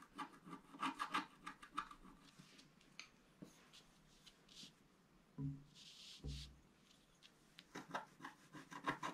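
A wooden stylus scratches along the bottom edge of a flat sheet of black-coated scratch art paper. Quick, dry, rasping strokes come in irregular bursts with a bright hiss, easing into a quieter stretch with a few soft low thumps before brisk scratching picks up again at the end.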